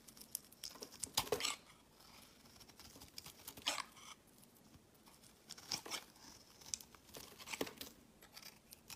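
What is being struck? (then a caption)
Solid bar soap shaved with a blade. A palm-sized, solid round tan bar of soap is held in the hand and shaved with a utility-knife blade, with long curled shavings piling up below. Quiet, bright scraping and crinkling strokes come in irregular bursts, some sharper and louder than others, with almost no low end. Between the strokes, only faint, soft rustling remains.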